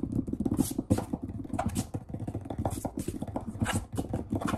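Fingertips of both hands rapidly scratch, rub and tap the solid surface of a large brown wood-grain table. The result is a dense stream of short, dull, low knocks with almost no ring, broken by brief bursts of bright, scratchy friction.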